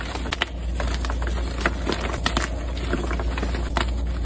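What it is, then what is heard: Gym chalk block being crushed. White gym chalk blocks of magnesium carbonate, solid and powdery, are crushed and crumbled between the fingertips and palms of two hands with long red nails, on a dark surface covered in chalk powder. Dry, crackly crunching and gritty rubbing continue throughout, with sharp bright snaps of crumbling over a steady low rumble.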